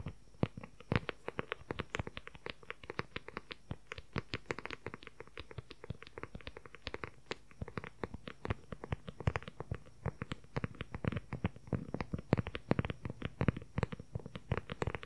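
A closed dark brown leather journal cover, held in both hands, is tapped and scratched rapidly with the fingertips for about 15 seconds. The sound is a quiet, steady stream of short, dry taps with very little ring, mostly low and dull with occasional brighter clicks and soft scratching between them.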